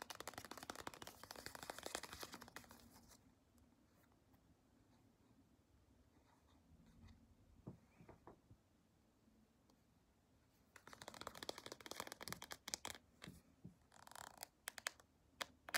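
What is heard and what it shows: Long pointed nails scratch and tap the printed front of a small white-and-blue CeraVe squeeze tube made of soft plastic, held up close. Dense, bright, crackly scratching fills the first few seconds, then fades to a quiet stretch with a few soft taps. A second burst of brisk scratching and sharp, dry clicks returns near the end.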